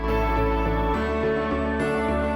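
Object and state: Nothing is struck.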